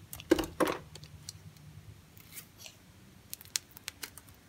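A narrow slab of pale green dry bar soap is sliced with a utility knife blade. Two loud, crisp cuts with a dry, crunchy snap come early, followed by faint scraping and a scatter of short, sharp ticks and clicks toward the end.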